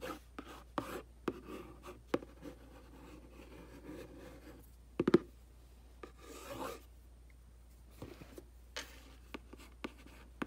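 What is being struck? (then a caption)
Glossy printed cardboard box. A thin black brush handle, held in the hand, scratches and rubs along the front face of a medium-size, hollow, glossy printed cardboard aquarium box. Quiet, dry scratching strokes and longer rubbing sweeps mix with sharp little ticks, mostly in the low-mid range, with almost no ring after each touch.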